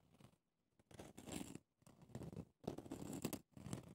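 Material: Pumice, plastic.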